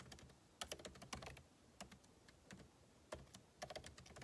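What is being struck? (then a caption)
Laptop keyboard, plastic keys in aluminium body. Fingertips type rapidly on the plastic keycaps of a backlit MacBook Pro keyboard set in an aluminum body. Quick, dry clicks with bright tops come in bursts separated by short pauses, each tap dying away almost at once.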